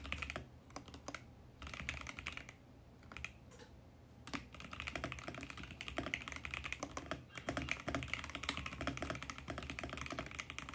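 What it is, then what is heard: Plastic mechanical keyboard being typed on. A compact VGN X68 mechanical keyboard, with purple and mint plastic keycaps on a hollow plastic case, is typed on quickly with the fingertips of both hands. It makes dense, rapid, short clacky key strikes with a bright, crisp tone, easing briefly to a quieter patch early on before the fast typing picks back up.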